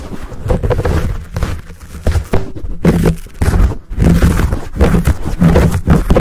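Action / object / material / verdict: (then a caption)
scrape / foam microphone windscreen / foam / none. Fingertips scratch and palms cup a fuzzy black foam windscreen on a Blue Yeti microphone, close to the capsule. The result is a heavy, muffled, low rumbling with irregular bursts of scratchy friction and brief hollow swells as the foam is covered, with almost no bright content.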